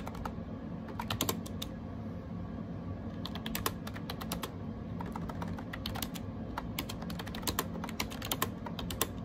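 Fingertips type rapid key taps on a gray AJAZZ 308i wireless Bluetooth keyboard made of plastic with round plastic keycaps. Quick, bright plastic clicks come in irregular bursts with short pauses, each tap dying away almost instantly. A steady low background hum runs underneath throughout.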